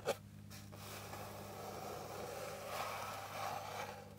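Long pink nails tap and scratch across a flat, light, solid wooden board with a fine grain. A single sharp tap opens the clip, followed by a steady, soft scraping rasp that swells slightly in brightness toward the end, over a low constant hum.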